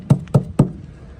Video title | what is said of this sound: My Mazda Rx-7 Sat for 23 Years.... Will it Start?! | same thing when I knock on it sounds like nothing's in there